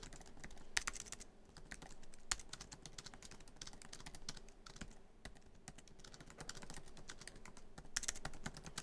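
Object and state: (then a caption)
Laptop keyboard being typed on. Fingertips of both hands type quickly on a MacBook Pro keyboard, its black plastic keys set in a silver aluminum laptop body with a hollow build. A dense stream of short, bright clicks and taps, each dying away almost instantly, runs with a few louder keystrokes standing out.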